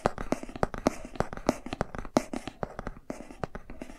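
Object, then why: Cardboard board book. Fingertips and nails scratch and tap along the page edges and spine of a thick cardboard board book held horizontally. A quick, uneven run of short, dry taps with a warm, muffled mid tone mixes with soft scratching between them. Each tap dies away almost instantly.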